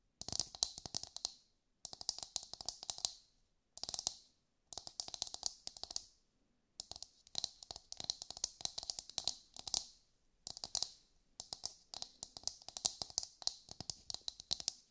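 Long light-grey nails tap quickly on a brown, husked whole coconut with a hard fibrous shell, held in both hands. Bright, dry, clicky taps come in rapid bursts separated by brief pauses, each click dying away almost instantly, with a faint hollow tone underneath.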